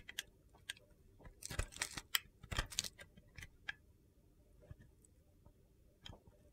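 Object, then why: Bar of soap. A utility knife blade carves crumbly pieces off a white solid soap block with a yellow-blue glitter corner. About thirteen short, crunchy, gritty scrapes and clicks are heard, bright and dry with soft low thuds beneath. They cluster in a dense burst in the middle and thin out toward the end over a quiet background.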